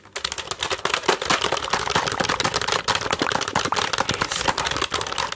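A full-size black plastic computer keyboard with a hollow plastic body is held up close, and fingertips rapidly tap and press its keys. The result is a dense, continuous run of sharp, clicky plastic taps with a bright edge, very little low end, and quick decay.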